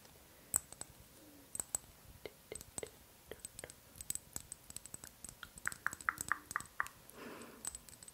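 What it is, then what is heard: Small amber glass dropper bottle. A small amber glass oil bottle with a white dropper cap is held close and tapped and clicked with long acrylic nails. The result is a quiet, irregular run of sharp, dry, high clicks with almost no ring, plus a few brief tonal pings and a soft rustle near the end.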